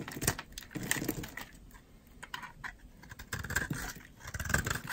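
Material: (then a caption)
Soap. A metal utility knife blade scrapes along the edge of a solid, dry green oval soap bar held in the hand, shaving off dry curls. It makes repeated crisp, bright scraping and shaving strokes with soft low rustles, loudest near the start and end with quieter scraping in between.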